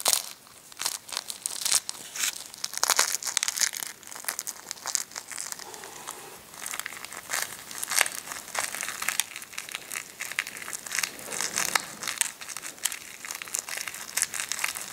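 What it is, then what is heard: Cracked hard-boiled eggshell. Fingers and thumbs rub and squeeze a cracked hard-boiled egg, crumbling the brittle shell pieces. Dense, bright crackling and crinkling snaps come in quick, uneven bursts for the whole clip, with almost no low end.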